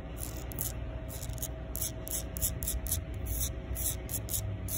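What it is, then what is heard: Concrete sidewalk scraped by fingernails. Long pink nails scrape back and forth across the gritty surface of a solid concrete sidewalk. The result is a series of short, bright, hissing scratch strokes over a steady low rumble.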